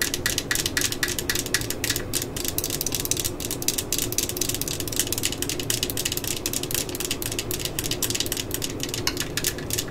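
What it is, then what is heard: Plastic cordless drill body. Long fingernails on both hands tap and scratch the hollow plastic body of a yellow and black cordless drill lying on its side on a mat. A fast, steady stream of bright, dry clicks and scratchy rasps runs throughout, each tap fading almost instantly over a low, hollow plastic resonance.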